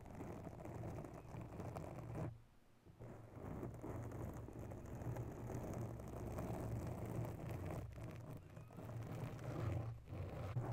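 Long bare nails slowly scratch the top and sides of a grey foam cover on a USB microphone. The result is a continuous, soft, close-up scratching and rustling that sits mostly in the low range, with a steady low hum underneath. It dips briefly into near-quiet a little over two seconds in, then resumes.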